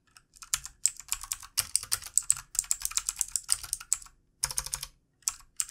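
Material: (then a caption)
Plastic. Fingertips of both hands type on the keys of a backlit plastic computer keyboard, producing rapid bursts of bright, crisp clicks. The taps come in quick runs separated by short pauses, with almost no ring after each one.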